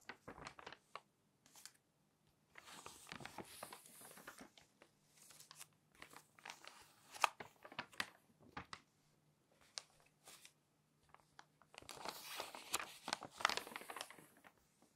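Long nails lift the corner of a page in a thick, open glossy paper magazine, and fingers turn the pages. Quiet, crisp crinkling and rustling bursts mix with sharp, bright paper snaps and ticks at an irregular pace, with short silent gaps between turns.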